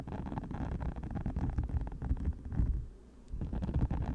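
Long matte nails scratch across the many small flexible spikes of a hand-size orange silicone cover fitted over a microphone. The result is a dense, muffled, low rumbling scrape with rapid soft bumps and almost no high end. It dips quieter for a moment near the end before picking back up.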